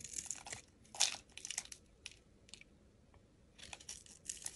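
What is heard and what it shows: A metal utility blade scrapes curls off the face of a solid pink hexagonal soap bar. The result is a series of quiet, dry, crisp crunching scrapes, bright and high with almost no low end. Each stroke is short and fades quickly, with brief pauses in between.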